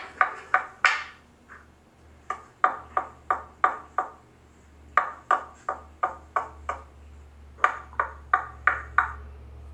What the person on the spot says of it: as you can hear, these speakers sound incredibly solid. It's like knocking on a piece of granite